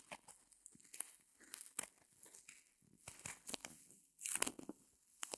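Long nails scratch and press a small white solid reticulated foam block held in both hands. The result is quiet, bright crinkling and tearing-like scrapes in short bursts, with a louder rough rasp near the end.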